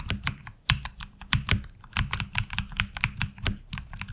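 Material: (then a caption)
ABS plastic. Both hands type continuously with their fingertips on a HyperX Alloy Origins Core tenkeyless mechanical keyboard with black ABS SA-profile keycaps, lubed tactile switches and a taped (hollow) case, resting on a desk mat. About 20 quick, uneven keystrokes sound as short clacks with a deep, hollow low thump under bright, sharp clicks, each dying away almost instantly.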